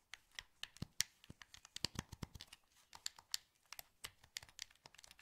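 Thumbs press the sticks and buttons of a translucent green, hollow plastic PS2 wireless controller held in both hands, making a quick, irregular run of sharp, bright plastic clicks and taps. Each click dies almost instantly, with a dry, light texture and little low end.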